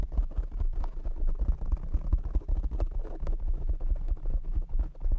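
Fingertips and nails of both hands rapidly tap a black foam windscreen on a desktop microphone. The result is a dense, continuous run of deep, muffled thumps centered around 62 Hz, with faint scratchy clicks on top and almost nothing bright.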